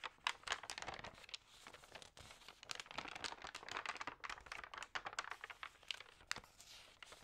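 Fingers lift, crinkle and turn the damp, thin, newsprint-like pages of a large open magazine lying on a table. The result is a dense run of crisp, bright crinkles and rustles with quick snaps, short quiet gaps between page movements, and almost no low end.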